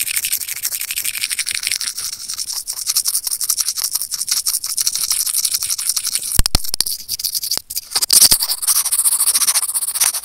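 Curved steel tweezers rub and scratch a small hollow white plastic earphone mic remote, producing a dense, bright, rapid scratching and rasping texture. Around the middle a few sharp, loud clicks cut through, and the scraping grows louder and harsher toward the end.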